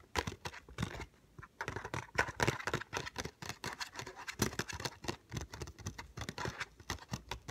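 Fingernails rapidly tap and scratch on a small, hollow ZAGG glass screen protector retail box made of paperboard, held in the hands. Dry, crisp clicks and scrapes come in quick bursts, with a few slower taps between them.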